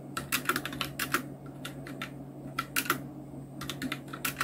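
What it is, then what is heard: Plastic mechanical keyboard. Two hands type continuously with the fingertips on a full-size black Nubwo Illution NK-70 mechanical keyboard with Outemu red switches, round plastic keycaps and blue backlight. The result is quick, short, bright plastic clacks in uneven bursts with brief pauses, over a steady low hum.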